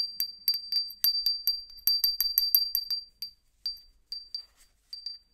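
A small, hollow white ceramic hand bell with a colorful decal is held by its handle in a black-gloved hand and shaken so it rings. It gives a quick, irregular run of high, bright, glassy tinkles, dense at first, then thinning into separate strikes with short pauses. Each ring dies away almost instantly.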